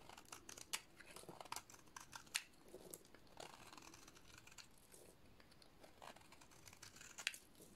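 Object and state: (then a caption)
Dry soap bar being shaved. A metal utility-knife blade shaves a solid white, hand-sized dry soap bar into powdery flakes, making crisp, bright scraping and crackling strokes. Several sharper crunchy cuts stand out above a steady, quiet rasp of shaving.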